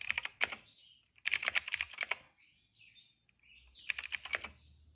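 Fingertips of both hands type on a retro-style cream plastic mechanical keyboard with black and purple keycaps. Three bursts of quick, bright, clacky keystrokes are separated by short pauses, with faint soft tonal chirps in the quiet gaps.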